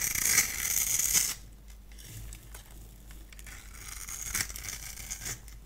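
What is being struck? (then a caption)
Solid bar of soap. A solid, dry pink bar of soap held in the hand has its surface scored and shaved with a multi-blade cutter, breaking off crumbly flakes. A loud, bright, hissing scrape fills the first second, then gives way to softer, scattered crackles and scratches, with another brief bright scrape near the end.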